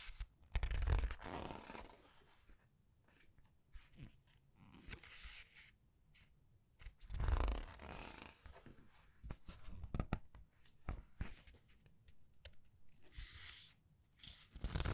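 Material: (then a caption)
Paper. Long nails flip and press the paper pages of a large art book, making broad crinkly swishes of turning paper, with two fuller, louder page turns near the start and middle. Quieter stretches carry soft brushing, light taps and sharp little clicks from the nails on the pages.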